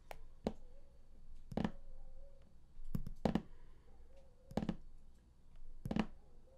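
Fingertips and nails of both hands tap the raised top panel of a large printed cardboard collector's edition game box lying flat. The taps are short, dull and low, come in spaced clusters, and die away almost at once over a quiet background.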